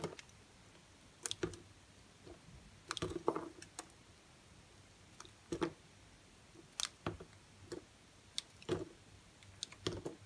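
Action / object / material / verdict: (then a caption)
scrape / bar of soap cut with a knife / soap / none. A utility knife cuts thin pieces from a small, solid, semi-dry yellow soap bar held in the fingers. Irregular, sharp, crisp cuts and short scraping slices come in scattered clusters, each bright and quickly fading, over a quiet background.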